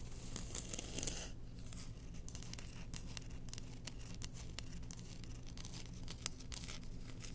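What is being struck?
Engraved bamboo spoon.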